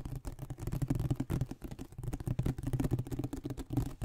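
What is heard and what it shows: A flat, hollow glossy printed cardboard iPad box is tapped and scratched across its printed face and edges with fingertips and nails, held close to the microphone. A rapid, continuous patter of soft, dull taps and light scratches comes through, mostly low and hollow with very short ring and almost no bright content.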